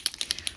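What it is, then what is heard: Paint marker with mixing ball rattling inside. A plastic acrylic paint marker is shaken so the small mixing ball inside knocks around to mix the water-based pigmented ink. Six quick, bright clicking taps are heard, evenly spaced and dying away almost instantly, which is the normal rattle of the ball doing its job.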